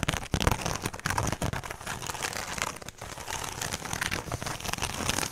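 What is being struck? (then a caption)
Woven straw handbag. Long pink nails scratch and tap the woven straw face of a small, hollow, rectangular straw handbag held in both hands close to the mic. A dense, continuous crinkling rustle with bright, crackly scratches runs throughout, layered over soft, low, hollow thumps from the taps.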